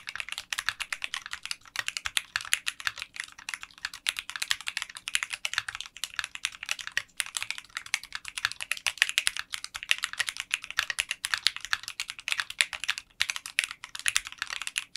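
A 60% mechanical keyboard with translucent pink polycarbonate keycaps in a clear case is typed on continuously with fingertips. Dense, rapid, bright clicky keystrokes sound for the whole clip, with no low-end thump and very short decay on each hit.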